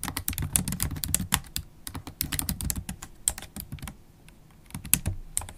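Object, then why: Laptop keyboard with plastic keys in a metal body. Long pointed holographic acrylic nails type continuously on a MacBook Pro keyboard, tapping the black plastic keycaps in its thin, hollow silver aluminium body with nail tips and fingertips. The result is a rapid stream of short, dry clicks with bright, sharp nail ticks over soft low thuds. The typing eases briefly near the end before picking back up.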